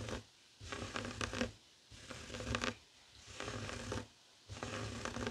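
Fingertips and short nails scratch a flat, heart-shaped woven tapestry fabric coaster lying on a wooden table. Repeated bursts of dry, rough scratching with a bright rasp alternate with brief quiet pauses.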